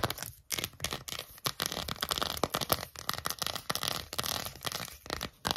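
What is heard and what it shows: Long acrylic nails and fingertips scratch and squeeze a small, hollow, empty green silicone phone case. The result is quick, bright bursts of scratchy, crackling friction separated by brief pauses.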